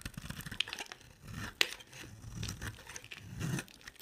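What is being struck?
Solid bar of soap scraped with a blade.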